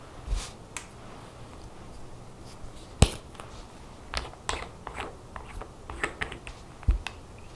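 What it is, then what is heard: Glass nail polish bottle. A small glass nail polish bottle filled with lime-green polish and topped with a black plastic cap is held up in one hand over a towel and tapped with long natural fingernails, while rings on the fingers may clink. Irregular, short, sharp clicks and ticks sound bright against a quiet low background rumble, with one louder tap near the middle.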